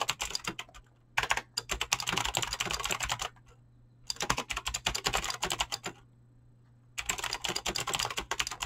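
Fingertips with short painted nails type fast on a full-size mechanical keyboard with Razer green clicky switches and pink-blue PBT plastic keycaps resting on a desk. Bursts of rapid, bright clicky keystrokes come in three runs separated by short pauses, with a faint low hum running underneath.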